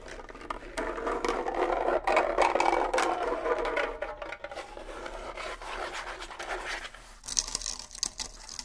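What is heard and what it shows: Fingernails scratch the rawhide heads of a pair of small, hollow bongo drums, then shift to scratching just one drum. The result is a dry, rapid rasping scrape that swells in the middle and fades, ending with a thinner, brighter scratch near the close.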